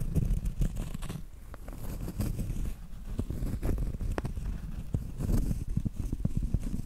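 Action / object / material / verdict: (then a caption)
scrape / round cork trivet / cork / none. Acrylic nails scratch across the textured flat face of a round, solid cork trivet, producing a dense, dull, low-heavy scraping with quick, soft ticks and crackles that die away almost instantly. The scratching swells and eases in uneven bursts.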